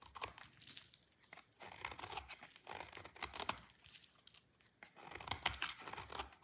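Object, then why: Soap bar shaved with a knife blade. A solid, dry red soap bar held in the hand is shaved into brittle flakes with a utility knife blade. Dense bursts of crisp, bright scraping and crackling come in rough clusters, each rasp short and dry, with little low-end weight.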